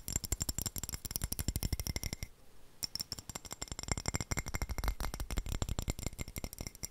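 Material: Ceramic.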